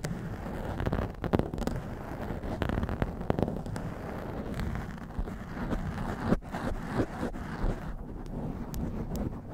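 Long nails and fingertips of both hands scratch the top of a blue foam windscreen on a black microphone. The result is a dense, muffled, bass-heavy scraping and rustling, broken by sharp, brief crackling thumps that rise above the steady rumble.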